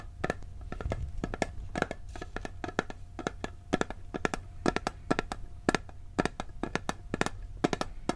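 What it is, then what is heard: Metal cookie tin. A round blue printed steel cookie tin, hollow with its lid on, is held in one hand while fingertips and nails tap and scratch the lid. The result is a steady run of quick, dry metallic taps with short bright clicks and almost no ring. A faint low hum sits under the taps throughout.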